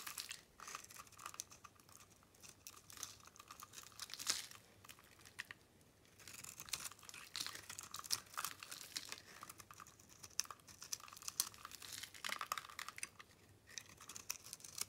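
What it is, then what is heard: Bar soap being shaved. A metal blade shaves thin, crunchy flakes off the surface of a solid pink soap bar held in the palm, leaving powdery debris. It makes a steady run of quiet, dry, crisp scraping and crackling with bright high tones and almost no low end, and sharp ticks stand out now and then.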